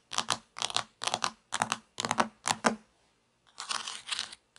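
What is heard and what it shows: Long fingernails tap quickly on the textured plastic top of a sliced plastic toy pizza resting on a table. Six short bursts of bright, dry clicking taps come in a steady run, followed by a brief silence. Then a longer, denser stretch of rapid tapping follows.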